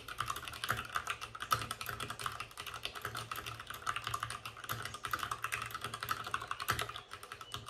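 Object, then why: Mechanical keyboard with plastic keycaps and case. Fingertips of both hands type fast on a white RGB-backlit mechanical keyboard with plastic keycaps and a hollow plastic case. The result is a dense, continuous stream of short, sharp clacks with a hollow plastic tone centered around 1.3 kHz and bright tops. Each keystroke decays almost instantly.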